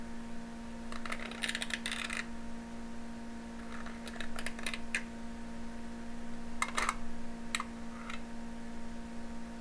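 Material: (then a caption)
Aluminum foil. A thin needle pokes through and scratches aluminum foil stretched taut over a small glass jar. Clusters of short, bright, crinkly scratches and ticks come in bursts with quiet gaps between them. A steady low hum runs underneath throughout.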